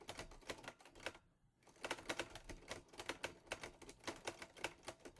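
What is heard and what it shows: Fingertips type on the keys of a teal metal Olivetti Lettera 22 portable typewriter, producing a rapid run of sharp, bright mechanical clacks. The keystrokes stop briefly for a short pause near the start, then resume at a steady pace.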